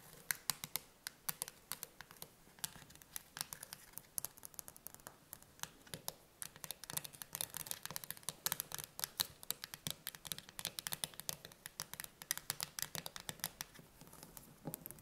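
Long painted nails tap and scratch rapidly on the metal lid of a sealed, medium cylindrical steel food can with a green paper label, standing upright on a wooden table. The result is a quiet, steady stream of bright, crisp clicks and scratchy strokes that die out almost instantly, with little low-end body.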